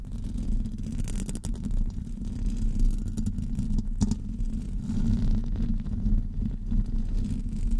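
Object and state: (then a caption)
Metal mesh microphone grille being scratched. Fingernails of both hands scratch across the top of a hollow metal wire-mesh microphone grille. The result is a steady, dense rumbling scrape, heavy in the low end with little high content, and occasional brief sharper clicks.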